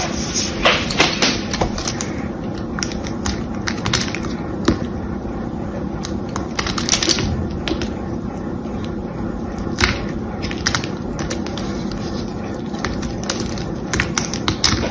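A solid rectangular bar of cream-colored soap held in one hand is scored and carved with a small knife blade that scrapes and cuts the surface, flaking off chips. Frequent short, crisp scraping clicks and cuts sound over a steady low rustle, with brief bright transients throughout.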